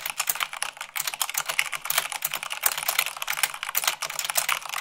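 Fingertips with long nails type fast, at about 98 words per minute, on a mechanical keyboard with white plastic keycaps on a black base. The result is a rapid, uneven stream of short, bright clicks and clacks with almost no low end, each stroke dying away almost instantly.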